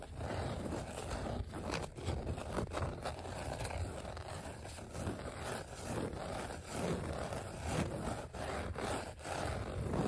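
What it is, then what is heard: Vinyl letter sticker sheet. Fingertips and short nails scratch and tap across the raised die-cut letter outlines on a flat, thin, solid green glossy vinyl sticker sheet. A continuous dull, low-heavy scraping texture is punctuated by brief taps, with no clearly separated hits.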